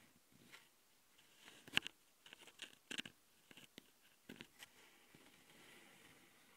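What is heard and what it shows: A long glitter fingernail taps and scratches the top panel of a handheld plastic Tascam audio recorder, between its microphone capsules. Quiet, dry clicks and short scraping bursts come in irregular clusters, bright and brittle with almost no low end or ring.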